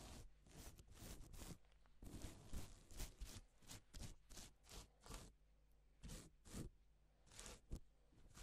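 A gloved hand rubs its fingers across silver-side reversible plastic sequin fabric, flipping the sequins over to pink. Bright, scratchy rustling swipes come in irregular bursts over a quiet, steady low hum.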